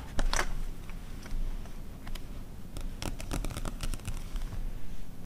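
A glossy paper car magazine from 2009, resting on white fur, has its pages flipped and is then closed, while long red nails tap and scratch its glossy front cover. Crisp, bright paper rustles and sharp clicking taps come in uneven bursts over a low, steady rumble.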